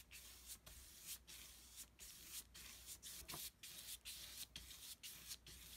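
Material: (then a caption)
Paper. A wide synthetic-bristle flat brush is rubbed back and forth across a large flat sheet of thick white mixed-media paper lying on a table, spreading wet pink and peach acrylic paint. Each stroke makes a soft, bright, hissing scrape, with brief quiet gaps where the brush changes direction.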